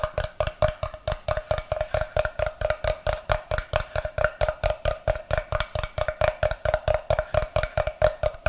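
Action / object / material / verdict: tap / wooden block / wood / none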